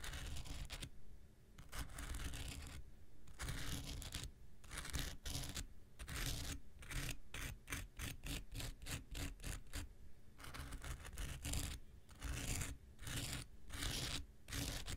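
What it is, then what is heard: Foam nail buffer block scraped. A handheld pink rectangular nail buffer block, made of solid foam with an abrasive surface, is scratched with an X-Acto knife blade. Repeated dry, raspy scraping strokes come in quick bursts with brief gaps, giving a bright gritty texture over a low rumble.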